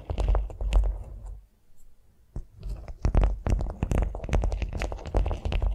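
Long nails tap and scratch a flat beeswax-coated cotton food wrap lying on a vinyl mat. Irregular, soft crinkling taps and scrapes with a dull, low-heavy body and brief bright edges start busy, thin out into a near-quiet stretch in the middle, then return denser and steadier to the end.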